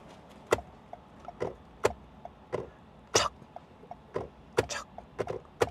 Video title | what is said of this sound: 콜레오스 하이브리드 VS 토요타 라브4 하이브리드 비교 리뷰!! - 르노 중랑 6월 프로모션 - 르노사고 프랑스가자 - 에어프랑스 - 소피텔엠버서더서울 -🇫🇷🇨🇳🇸🇪🇰🇷/🇯🇵🇺🇸 | 소리 잘 들어보세요. 이게 좀 싸구려 플라스틱 소리거든요, 냉정하게 말씀드리면.